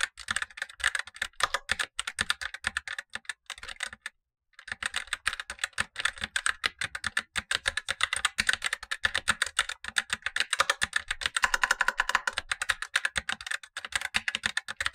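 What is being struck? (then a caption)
Plastic mechanical keyboard. Blue-gloved fingertips type fast on a Razer BlackWidow Lite, a tenkeyless plastic mechanical keyboard with black plastic keycaps and tactile switches, the upper of two keyboards while the lower one sits untouched. A steady stream of short, crisp plastic clacks with a bright upper-mid tone breaks off in a brief silence just after four seconds. The typing then resumes and keeps going to the end, with almost no low end.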